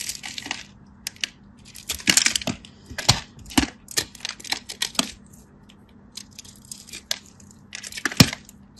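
A craft knife scratches and cuts through a solid cream bar soap, slicing it into cubes. A quick, uneven series of crisp, bright scraping and crunching cuts is heard, each short and dry with little ring, separated by quiet pauses over a faint low hum.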